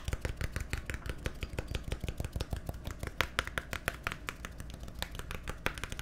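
A small, hollow, labeled plastic bottle or tub with a green cap is held in the hand and tapped and scratched with fingernails. Quick, uneven, dry clicks and taps with bright edges sit over a soft, low hollow body, interspersed with faint scratchy rustling. The sound stays quiet and close throughout, with no ringing after each tap.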